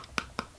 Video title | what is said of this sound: March, April, May 2023 Allure Beauty Box, and Spring Walmart Box | it sounds empty it probably only has one or two uses in it